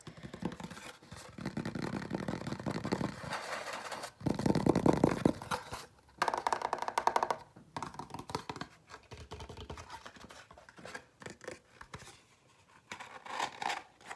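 A small, hollow, empty white cardboard dessert box is turned over in the hands while fingernails scratch and tap it inside and out. Dense, papery scratching fills the first seconds and rises to louder, rougher bursts. It then thins into scattered, quieter dry taps and scrapes with very short decay.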